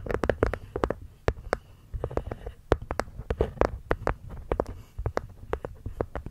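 Long nails tap and scratch the cork top panel of a small, hollow, hexagonal light-wood box. Quick, dull, irregular taps with short, soft clicks land over a low, hollow rumble. Brief scratchy rustles fill the gaps between them.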